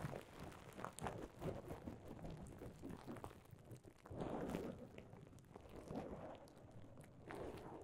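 Clear plastic bubble wrap stretched over a microphone is crinkled and squeezed with the fingers. It makes a continuous, muffled crackling rustle, mostly low to mid in tone, with louder swells of crinkling throughout.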